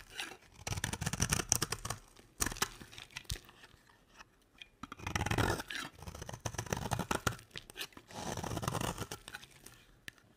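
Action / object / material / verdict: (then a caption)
scrape / bar of soap cut with a blade / soap / none. A utility knife blade carves long curls off a solid, dry, beige square soap bar. Bursts of crisp scraping and crunchy tearing, bright on top with a soft low body, come in several passes separated by short pauses.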